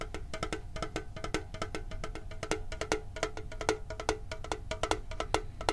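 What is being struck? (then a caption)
Printed sheet-metal card tin with lid. Fingertips and nails tap fast on a hollow, red and blue printed metal Pokemon card tin with its lid on. A quick, uneven run of short, dry clicks rings briefly around 440 Hz with bright edges, over a steady low rumble. Each tap dies away almost at once.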